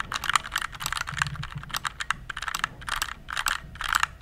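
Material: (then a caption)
Plastic. Fingertips type quickly on a compact RGB plastic mechanical keyboard, tilted at the end, producing a steady run of dry, clacky keystrokes. Each click is crisp and bright with a midrange body and almost no ring, over a faint low rumble.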